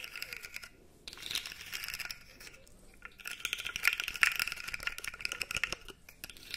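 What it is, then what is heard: Plastic articulated fidget slug toy. A light-blue plastic articulated fidget slug toy is held by the top while fingers flex its segments, producing rapid, bright clicks and rattles. The dense, crisp clatter pauses briefly near the first second, then grows busier and louder through the middle before easing off toward the end.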